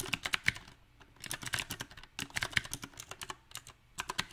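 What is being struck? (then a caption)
Mechanical keyboard with round plastic keycaps. Fingertips type on a backlit compact mechanical keyboard with round typewriter-style plastic keycaps set on a silver metal frame. Bursts of quick, bright, clicky keystrokes come in uneven clusters separated by short pauses, each tap sharp and dry with almost no ring.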